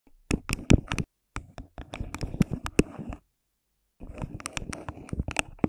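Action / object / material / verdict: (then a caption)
tap / thin plastic cup / plastic / none. Long pink nails on both hands tap and scratch the sides of an empty, hollow, thin clear plastic cup placed upside down over a white microphone head. Quick, dry, hollow clicks and taps with a deep, muffled thump and brief scratchy rustles come in bursts, separated by short pauses of silence.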